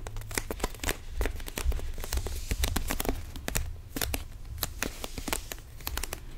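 A small, empty clear plastic water bottle with a blue label and white cap is held in both hands and squeezed and crinkled with the fingers. The result is a dense run of sharp, bright crackles and crinkling snaps at an uneven pace over a low, rumbling handling noise.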